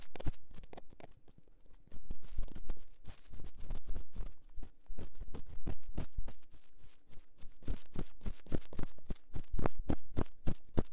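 A metal ear-pick gently scratches inside the ear canal of a silicone binaural microphone ear. Rapid, irregular scratchy crackles and soft thumps sit over a low rumble, quiet for the first two seconds and then louder and busier for the rest of the clip.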